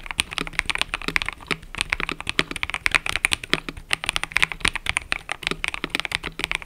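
Fingertips type continuously on a mechanical keyboard with cream and purple plastic keycaps. A steady, rapid stream of short, dry, bright clacks is heard, each dying away almost instantly, with little low-end weight.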